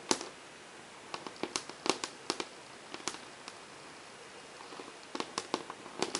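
Long fingernails scratch through marker scribbles across the glossy surface of a large melamine whiteboard, with a large ring on one finger close to the board. A scattered series of sharp, bright, clicky scrapes and ticks stands out over a quiet background, each dying away almost instantly.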